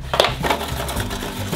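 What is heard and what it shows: A wrapped package of chewy, sour candy is shaken, producing a crinkly, rattling rustle like a whisk against aluminum foil. Two sharper peaks stand out near the start over a steady low hum.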